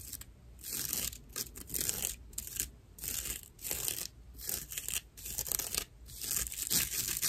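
Long nails scratch the rough outer surface of a dry, hollow natural loofah sponge made of fibrous plant material. Repeated bursts of bright, raspy scratching come in uneven strokes, with short gaps between them. The sound is mostly high and dry, with little low end.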